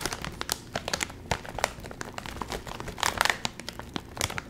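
A full Doritos chip bag made of metallized plastic film is crinkled and squeezed by the fingertips, then held up and handled. A dense run of sharp, bright crackles and crinkles comes in quick irregular bursts, each cutting off almost at once.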